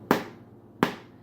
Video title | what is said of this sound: Whole Wheat with Flax Seed Meal bread - Homemade (Part 3) | if you just thump it and it sounds hollow, which it does, that means that it is done